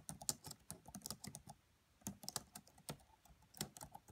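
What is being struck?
Plastic laptop keyboard keys.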